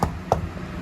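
Three knocks on a truck door panel treated with Damplifier Pro deadener and Overkill foam during a speaker install. Each is a short, dull thud that stops almost at once, with no ringing. The panel sounds dead and solid, as intended.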